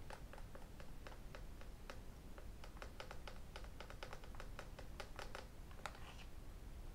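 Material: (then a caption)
Glass, aluminum. Fingertips, nails and metal rings tap across the glass screen and aluminum edges of a thin tablet computer. The result is a quick, irregular stream of light, crisp clicks with a bright edge and very short ring, over a quiet, steady low rumble.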